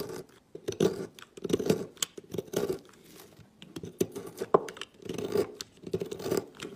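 A knife blade carves ridges into a solid, marbled green and yellow bar of soap, shaving flakes off it. Soft, crisp scraping and crunching comes in irregular bursts, with a warm midrange body and brief bright flicks as flakes break away.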